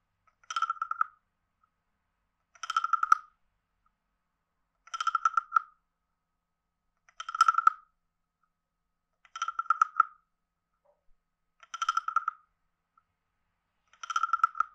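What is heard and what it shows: A wooden stick taps near the head of a palm-sized, hollow, carved reddish-brown wooden frog guiro and scrapes along its ridged back. Seven short, rasping croak bursts, spaced about two seconds apart, each carry a woody tone near 1.3 kHz with bright clicky overtones. Silence falls between the bursts.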